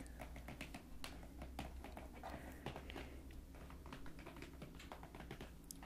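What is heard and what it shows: Long dark-painted nails tap and scratch the sides and top of a closed, hollow, medium printed cardboard MunchPak shipping box resting on a table. They make a quick run of dry, soft clicks and scrapes over a steady low hum.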